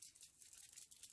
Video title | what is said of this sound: Close To My Heart VIP Flower Shop card kit | that's when you know it's ready to use it's properly mixed